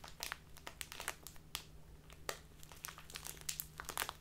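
A small plastic bag filled with tea is held in both hands and squeezed and rubbed with fingers and long nails to make it crinkle. Dense, bright crinkling crackles come in quick, sharp bursts over a steady low hum.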